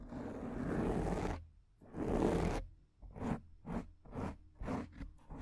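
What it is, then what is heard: Foam microphone windscreen being scratched. Long painted nails scratch the surface of a large, rounded, soft porous black foam windscreen on a microphone, using one or both hands. Two long, muffled, low-pitched scratching passes give way to a series of short, rhythmic strokes with a dark, rustling texture and little high-end brightness.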